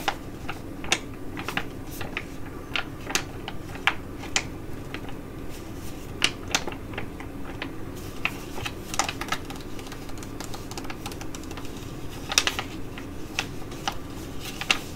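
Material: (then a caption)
Foil. A filled tea-tree Korean foil sheet mask pouch is crinkled in the hands, then scratched with long nails while it lies flat. Sharp, bright crackles and quick ticks come through, each dying away almost at once, over a steady low hum.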